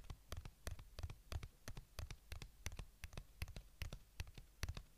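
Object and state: Plastic earbuds charging case.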